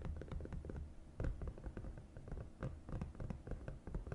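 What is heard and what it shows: Fingertips and long nails rub and trace along the raised compartment walls of a green silicone divided suction placemat. The result is a quiet, continuous stream of soft, dull taps and muffled scratchy rubbing, mostly low in tone with very little brightness. Each tap dies away quickly.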